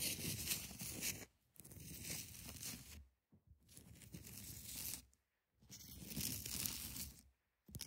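Long nails scratch across the top and side edges of a large solid ice block, producing rough, bright, tearing-like scraping in several sustained passes separated by brief silences.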